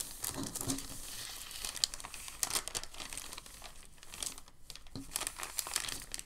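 A crinkled white packing paper sheet is lifted by hands, then pressed and smoothed flat on a table. Dense, bright crinkling and crackling runs throughout with sharp paper snaps and a faint low rustle underneath.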